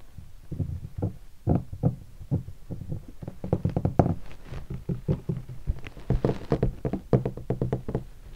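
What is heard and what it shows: A fingertip taps the lower body of a hollow guitar hard case covered in black leatherette and stickers. A quick, uneven run of dull, low thumps follows, each dying away almost at once with little ring.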